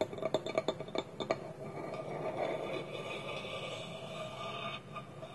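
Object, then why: Small wooden bowl with wooden lid. Fingernails and fingertips tap and scratch a small, hollow, polished wooden bowl whose wooden lid is held against it with both hands on a table. About ten quick, dry taps with a hollow tone near 650 Hz come first, then a steady, softer scratching fills the rest of the clip.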